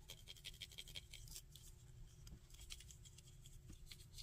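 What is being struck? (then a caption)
Small painted plastic figure with ridged shoulder pads. Fingernails tap and scratch the ridged shoulder pads of a small painted plastic Dragon Ball Burter action figure. Quick, bright clicks ring near 3 kHz, coming in a fast, even run at first and then in scattered, softer scrapes. A steady low rumble sits underneath throughout.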